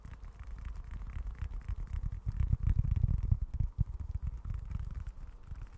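Fingertips scratch the grained leather surface of a small, dark, folded leather wallet. The result is a dense, irregular run of soft, low, muffled rasping scrapes that swell louder in the middle of the clip and then ease back down.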